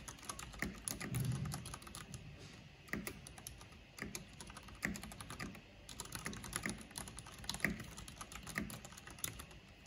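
A full-size black plastic mechanical computer keyboard with a purple backlight and hollow housing is typed on fast with long painted fingernails and fingertips. The result is a steady stream of sharp, bright clicks and clacks with a hollow low thump beneath them. The clicks stop almost instantly, with occasional louder strikes standing out.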